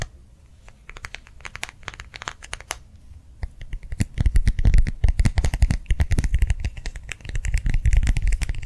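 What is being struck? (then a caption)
Clear plastic gel-filled hand warmer pad. A small round clear plastic gel-filled hand warmer pad, held in both hands, is tapped and squeezed with the fingers and nails. Quiet, sparse crinkly taps and scratches in the first few seconds give way after about four seconds to a denser, louder run of quick tapping with deep low thumps and bright crackling plastic clicks.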